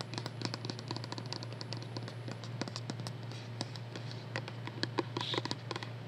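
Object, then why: Small plastic pump cosmetic bottle. A small, hollow white plastic skincare bottle with a pump top is held in the hands and tapped and scratched with long nails. Rapid, dry, bright clicks and taps with almost no ring mix with soft scratching, over a steady low hum throughout.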